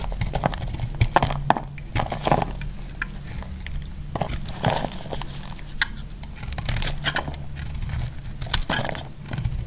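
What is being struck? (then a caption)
Bar of soap cut with a metal blade. A solid, hand-sized white bar soap held in the hand is scraped and cut with a metal utility blade, shaving off flakes that fall away. Many short, crisp scrapes and snaps ring out over a steady low rumble, with bright crackly edges on each cut.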